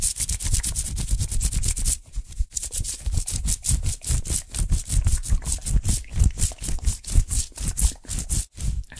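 The sleeve of a worn black cotton fleece sweatshirt with a white print is rubbed and brushed fast and hard with the palm and fingers of the other hand, close to the microphone. It makes a dense run of rough, rapid scratchy rubbing strokes with a heavy low rumble and bright hiss, pausing briefly near the two-second mark before continuing in quick bursts.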